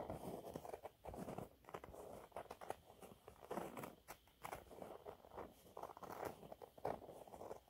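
Fingernails scratch a thin, flat, yellow textured cellulose sponge cloth. Quiet, dry, crackly rasps come in quick, uneven bursts with brief pauses, their energy centered in the mids, and each scrape stops short with almost no ring.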